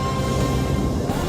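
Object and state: Nothing is struck.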